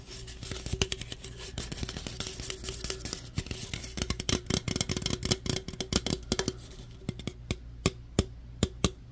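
An opened aluminum root beer can is held in one hand while fingertips and nails tap and rub its body. Dense, scratchy rubbing mixes with quick, dry, clicking taps that die away almost instantly, over a steady low hum. Toward the end the rubbing fades and a few louder, separate taps remain.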